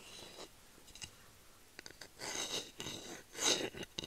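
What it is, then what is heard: Bamboo spatula scratched with nails. Long nails scratch the flat head of a solid bamboo wooden spatula held close to the mic. The result is six dry, bright, scratchy bursts of varying length over a quiet background, the loudest strokes near the end.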